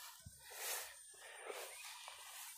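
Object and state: Nothing is struck.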